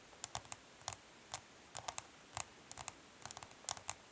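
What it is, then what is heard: Plastic makeup palette. Long nails tap quickly along the side edge of a smoky clear plastic makeup palette case standing on cloth. About fourteen quiet, dry, bright clicks come in uneven bursts, each dying away almost instantly with little low end.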